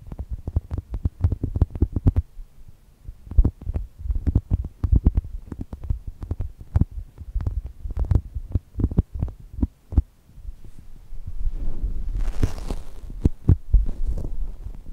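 A brown polyurethane foam chocolate toast squishy is squeezed by fingertips, then pressed and rubbed with flat hands and long nails. The result is a rapid series of soft, deep thumping squeezes, almost all low in pitch, followed near the end by a longer, brighter rubbing hiss.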